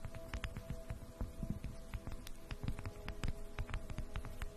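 A solid, round, flat bamboo jar lid is held over the microphone and tapped and scratched with long acrylic nails. Soft, low, dull taps and brief bright clicks come in a quick, uneven stream over faint scratching, with a steady quiet hum underneath.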